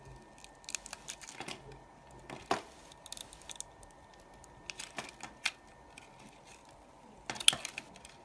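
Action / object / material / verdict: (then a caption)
scrape / bar of soap cut with a knife blade / soap / none. A solid pink soap bar, held in a hand with long dark nails, is shaved and cut into thin slices with a utility knife blade. Quiet, bright scraping and crisp crackling snaps come in scattered bursts, with sharper cuts near the middle and end.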